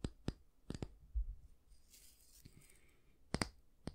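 Fingertips and nails tap and scratch the solid light wooden back and the bristles of a small oval bristle brush held in one hand. Eight sharp, dry clicks come in two clusters, at the start and near the end, separated by a soft, hissing scratch in the middle.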